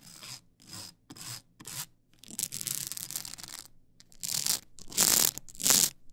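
Long acrylic nails rub and scratch the ridged side of a tall stack of blank polycarbonate CD-R discs on a plastic spindle. Short bright, hissy scraping strokes come in bursts, with a longer continuous rasp in the middle. The loudest, brightest strokes come near the end.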